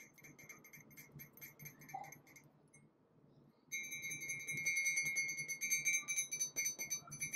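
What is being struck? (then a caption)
Glazed ceramic mug. A large, empty-looking white glazed ceramic coffee mug with gold dots, lettering and an iridescent handle is held in both hands and tapped with fingertips and nails. Quick, bright clinks ring briefly in an uneven patter, going quiet for about a second before returning louder and denser.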